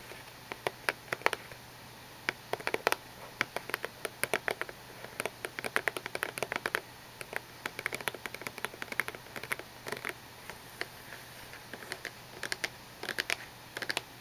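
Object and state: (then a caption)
Cardboard tissue box. Short painted fingernails tap and scratch a small gold cardboard tissue box with a printed flower, held in both hands, hollow and partly full of tissues, with white tissue sticking out. Many quick, dry, bright clicks and light scratches come in irregular bursts, each stopping at once with no ring, over a faint low hum.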